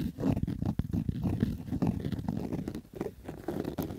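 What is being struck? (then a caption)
Fabric baseball cap. Fingernails scratch along the stitched rows of the brim of a black Adidas fabric baseball cap. The result is a continuous, rough, rasping scratch made of quick, dense strokes. It sounds muffled and low-heavy, with little brightness.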